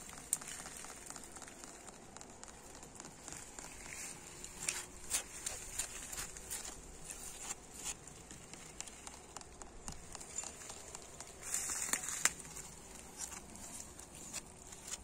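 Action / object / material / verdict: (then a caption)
tap / weathered brick wall / brick / none. Fingernails tap and scratch rapidly across a weathered, solid red brick wall with an engraved brick. The result is a quiet, bright, dry patter of short clicks and gritty scraping, with a few sharper taps standing out over a steady hiss.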